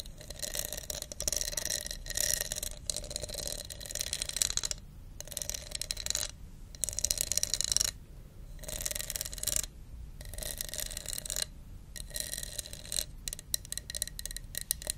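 Long nails scratch and tap the ridges of a hollow, empty, translucent red plastic cup with a wavy embossed texture, held in the hand near a fluffy mic. The result is a bright, crisp stream of rapid clicks and raspy scratching that comes in bursts separated by brief silences. The sound has a faint hollow ring.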